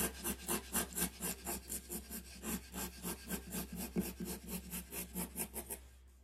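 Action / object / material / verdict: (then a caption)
scrape / graphite pencil on a sheet of drawing paper / paper / none. A graphite pencil rubs and scratches shading strokes along the drawn handle of an ax on a flat sheet of white drawing paper. The quick, raspy back-and-forth strokes carry a bright, papery scratch over a steady low hum. They continue at a fairly even pace before stopping near the end.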